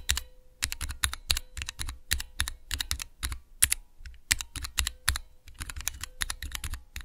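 Fingertips and long nails press the keys of a small, clear plastic Cherry MX switch tester with transparent keycaps. Quick, uneven runs of sharp, bright clicks and clacks, each with a short low thump, fill the clip, and a faint steady hum sits underneath.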